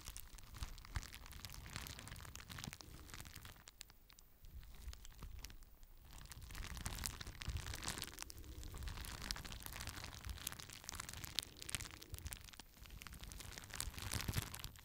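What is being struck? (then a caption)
Plastic bubble wrap sheet. A clear plastic bubble wrap sheet is held in both hands while the fingers pop the bubbles and crinkle the sheet. Dense, bright crackling is scattered with sharp little pops, with a quieter stretch around four to six seconds before the crinkling picks back up and continues steadily to the end.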